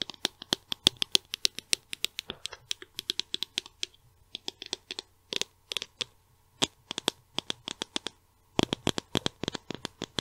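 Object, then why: Small plastic cosmetic tube. Long nails tap a small white and silver plastic cosmetic tube held in the other hand, producing dozens of short, bright, dry clicks in an irregular rhythm. Each tap dies out almost instantly, with a tight pitch near 3.4 kHz. The taps come in quick bursts separated by brief pauses over a faint low hum.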